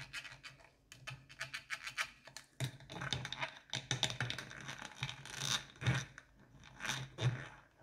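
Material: Plastic.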